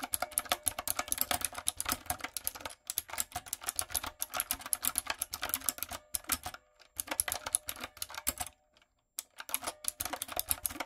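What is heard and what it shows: Fingertips and long nails type on a light-up, typewriter-style retro mechanical keyboard with round plastic keycaps, producing quick, bright, clacky keystrokes in rapid bursts. Brief pauses break up the typing, and each key click is sharp and short, with almost no ring.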